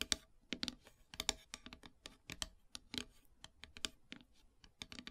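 Long silver nails tap and scratch across a flat, solid, black-painted wooden heart plaque. About twenty quick, sharp, bright clicks land at an uneven, typing-like pace. Brief scratchy rasps sit between them, and each click dies away almost instantly.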